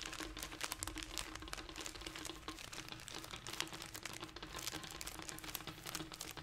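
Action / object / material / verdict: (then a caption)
scrape / plastic snack wrapper / plastic / none. A small, colorful, crinkly plastic snack package is held in both hands and squeezed and crinkled with fingertips and nails. The result is a dense, continuous run of bright, sharp crackles and rustles, with a faint steady low hum underneath.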